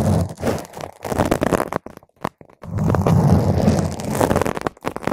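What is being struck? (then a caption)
Foam microphone windscreen. Long nail tips scratch a round purple foam microphone windscreen, producing dense, close-up crunchy rustling and scraping with a deep, rumbling low end. Bursts of scratching come in irregular clusters with a brief near-silent pause around the middle before intense scratching resumes.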